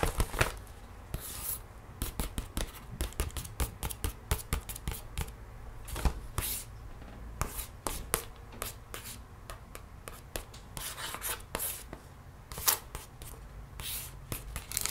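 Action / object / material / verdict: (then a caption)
scrape / paper gift bag / paper / none. Fingertips and long nails trace and scratch across the printed paper of an empty snowman paper gift bag held upright and flat. Dense, rapid, bright scratching strokes and light taps overlap without pause against a low, steady hum.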